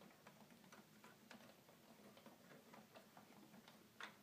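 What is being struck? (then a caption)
Plastic toy keyboard keys and buttons. Fingertips tap the keys and plastic panel buttons of a hollow red plastic toy keyboard. Quiet, dry clicks come in a steady, ticking rhythm over a faint low hum, with a sharper, brighter tap near the end.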